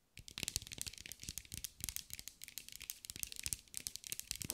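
A green mirror-glass mosaic ball, held in the hands, is tapped and scratched with long acrylic nails. The result is a quick, steady run of crisp, bright clicks and gritty scraping that die away almost instantly.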